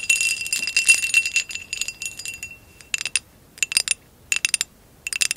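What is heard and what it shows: Long acrylic nails tap on top of a hollow amber glass vase with a woven relief pattern, lying on blue fur. A quick flurry of bright, glassy clicks with a faint ringing tone near 2.7 kHz fades out over the first two and a half seconds. Short clusters of crisp taps follow, separated by silence, and each one dies away almost at once.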